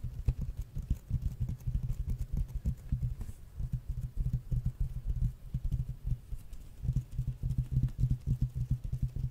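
Fingernails tap quickly across the glossy printed red cover of a large, flat hardcover art book held up in the air. The taps are short, dull and low, with almost no brightness, running as a steady patter that briefly softens before picking back up.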